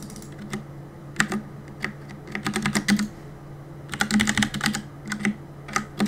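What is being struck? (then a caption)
Mechanical keyboard with plastic keycaps. Fingertips tap fast on the plastic keycaps of a black mechanical keyboard, producing bright, short clacky clicks in quick bursts separated by brief pauses. A steady low hum runs underneath throughout.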